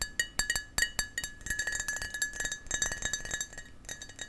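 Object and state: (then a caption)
Glass shot glass tapped. A small glass shot glass is tapped repeatedly in a quick, uneven series. Each tap gives a short, bright clink with a ringing tone around 1.9 kHz and high chime-like overtones. The clinks blur together in busier stretches.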